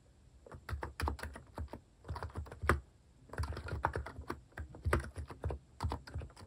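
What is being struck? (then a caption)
Plastic-keycap capacitive keyboard on a wooden desk. Fingertips type on a capacitive keyboard with plastic cat-shaped keycaps resting on a wooden desk. Soft, deep, short-decaying key thocks come in quick bursts separated by brief pauses.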